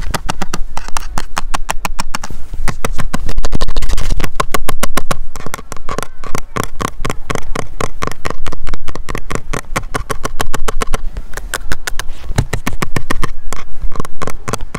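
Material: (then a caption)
Plastic. Fingertips tap rapidly on the printed plastic topsheet and edge of a large, solid, flat snowboard with a binding mounted on it, lying on snow with some loose snow on the board. The taps come as a fast, uneven stream of short, dull, low thuds that die away almost instantly.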